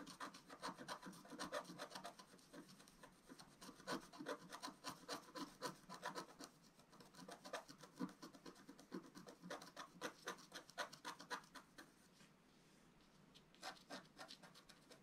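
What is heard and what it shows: A wooden stylus scratches across a flat, black-coated scratch-art paper sheet, making quick, dry, rasping strokes in an uneven rhythm. The bright, papery scraping is broken by brief pauses and eases to a quieter stretch near the end.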